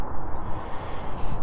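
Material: Nothing is struck.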